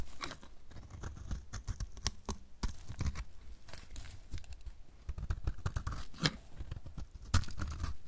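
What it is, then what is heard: Dry soap bar. A solid, dry light blue soap bar held in the hand is carved with a utility knife blade, and the flakes pile up. Dense, crisp scraping and crunching cuts follow one another with short, sharp clicks. A few brighter snaps stand out above a low, dull body.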